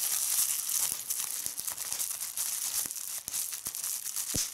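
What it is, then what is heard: Plastic bubble wrap being popped. A small gathered piece of clear plastic bubble wrap is held in both hands while fingertips with red-painted nails squeeze it and pop its bubbles. The sound is a steady bright, hissy crinkling broken by sharp, snappy pops scattered throughout.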